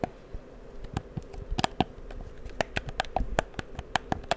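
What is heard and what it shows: Fingertips click the buttons and sticks of a black, hollow, handheld plastic PS4 controller held close to the microphone. About fifteen sharp, short clicks sound with a hollow plastic tone near 740 Hz. Soft scratching and handling noise run between them.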